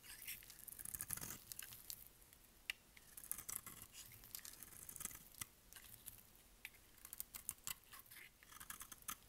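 A solid rectangular purple bar of dry soap is held in the hand while its edge is shaved with a utility knife blade, cutting off flakes. Quiet, bright, crisp scraping and crackling comes in rapid bursts, with many sharp little clicks and snaps as the flakes break away.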